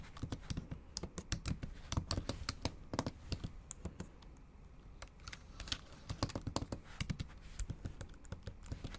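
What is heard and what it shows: Long acrylic nails type on a bare, backlit MacBook Pro keyboard with plastic keys, producing rapid, sharp clicky taps with a dull low thump beneath each one. The bursts of typing slow into a quieter pause near the middle before resuming at a brisk pace.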